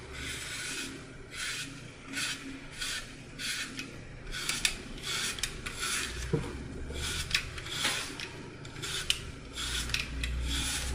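A hand-sized solid green floral foam block with a red-gold glitter surface is held in one hand and carved with a red utility knife. It makes repeated crumbly, rasping cuts and scrapes, each stroke a bright, gritty hiss. Soft low rumble runs underneath, with a few sharper crunches in the second half.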